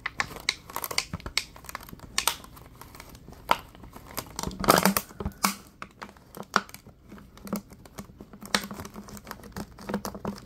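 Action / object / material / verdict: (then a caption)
scrape / thin plastic water bottle / plastic / none. Latex-gloved hands squeeze and crinkle a clear, thin, hollow plastic water bottle with a few small yellow bits inside. The bottle gives off a steady run of sharp, bright crackles and crunches, with louder bursts as it is pressed hard. A faint low hum sits underneath.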